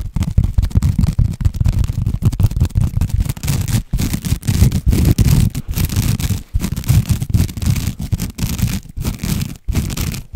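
A long woven jute or sisal rope-covered cylinder, held horizontally, is scratched and rubbed with the fingernails of both hands. The result is a dense, rough, low rumbling scrape made of rapid bursts with a few brief pauses, and the faint fibrous hiss above it stays weak.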